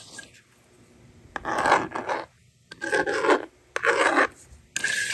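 A yellow plastic stylus, held by long-nailed fingers, scratches numbers onto the screen of a handheld plastic toy magnetic drawing board. Dry, rasping scrapes come in several separate strokes, each a bright, hissy burst centered in the midrange, with short quiet pauses between them.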